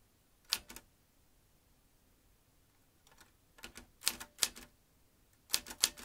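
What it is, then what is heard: Metal manual typewriter. Fingertips type on the round keys of a vintage metal manual typewriter, producing sharp, bright clacks in short irregular clusters with quiet pauses between them. The strikes are crisp and high-pitched with very little low end and almost no ring after each hit.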